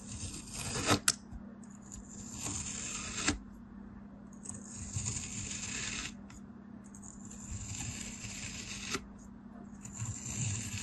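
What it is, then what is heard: Kinetic sand dome being sliced. A craft knife slices thin slices from a solid molded dome of beige kinetic sand on a blue surface, each cut giving a soft, gritty, bright hiss that swells and fades. Sharper clicks punctuate a few of the cuts, with a steady low hum underneath throughout.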